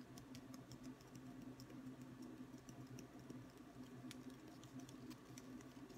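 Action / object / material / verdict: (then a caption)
tap / wooden ruler / wood / none. A long, thin, solid wooden ruler is held horizontally in both hands and tapped and scratched with short fingertips. Quiet, dry patters, ticks and light scratches come in a rapid, irregular stream, with occasional brighter clicks. A steady low hum sits underneath throughout.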